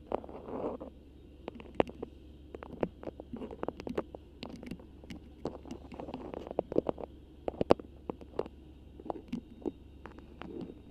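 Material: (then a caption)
Waxed cotton. Long pink acrylic nails grip, crinkle and scratch a thin, flexible cream beeswax-coated cotton food wrap with a black print, draped over the microphone. Soft, papery crinkling and rustling is broken by many sharp, bright clicks and taps, over a faint low hum.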